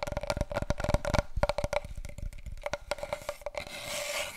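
Long fingernails tap and scratch rapidly along a long, hollow brown cardboard paper roll tube, giving about twenty quick, dull knocks with a faint hollow ring near 600 Hz. The taps thin out into a soft, bright scraping hiss as the tube is held diagonally at the end.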